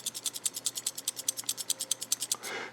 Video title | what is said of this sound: Kershaw Induction | if you get one of these and you hear that kind of rattle noise, nothing's broken, nothing's loose, it's the compression springs on the guide rods